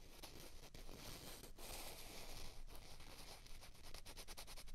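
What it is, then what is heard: Plastic ping pong balls rubbed together. Two small, hollow, white plastic ping pong balls of the same kind are held in both hands and rubbed and scraped against each other. The result is a continuous, dry, crinkly scraping hiss with a bright edge and a low rumble underneath, broken by brief pauses and quicker scratchy strokes toward the end.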